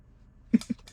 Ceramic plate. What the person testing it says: Nabawa sa lupa, sobrang tagal. Nagiging brittle. Hindi na.